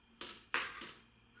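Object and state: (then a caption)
Baked-through bread loaf, hollow. A bread loaf, baked ten more minutes on the top shelf, is tapped three times and gives short, hollow, papery knocks with a brief ring. The hollow sound shows the loaf is baked through and done.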